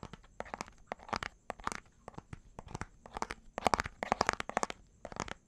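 A small, hollow, clear plastic bottle with a pink cap and white label is held in one hand near the microphone and tapped and scratched with the fingertips and nails of the other hand. It makes a fast, irregular run of dry, crisp taps with a mid-range knock, broken by bursts of crinkly scratching. Each tap stops almost instantly, with no ring.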